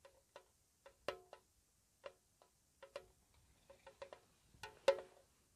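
A small, hollow, square white-painted metal tea tin is held close and tapped with long nails. The result is a slow, irregular series of light, dry clicking taps with a faint tinny ring around 550 Hz, each dying away almost at once, with one louder tap near the end.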